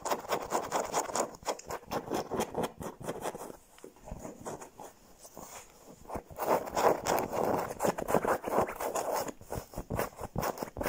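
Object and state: Plush fabric pillow.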